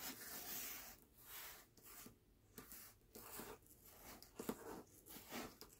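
Fingertips rub and scratch the paper dust jacket of a closed hardcover book resting on a black cloth, in slow strokes across the cover. Each stroke is a soft, bright, papery scratching rustle, separated by short quiet gaps, with a few sharper scrapes near the end.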